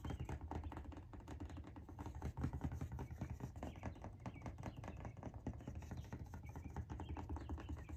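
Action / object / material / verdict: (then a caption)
tap / cardboard shoe box lid tapped with fingernails / cardboard / none. Long nails tap and scratch rapidly across the lid of a large orange Nike cardboard shoe box lying flat with its lid on. The hollow box gives a dense, continuous patter of short, dull, low thumps with little brightness, each tap dying away almost at once.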